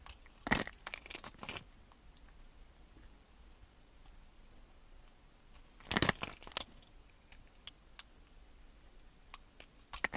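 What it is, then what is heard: Bar of soap being cut into cubes. A utility knife blade cuts cubes off a solid green bar of soap that has been scored into cubes and is held in the hand. Crisp, bright scraping crunches come in two clusters, near the start and again around the middle, with faint clicks and small crackles in between against a quiet background.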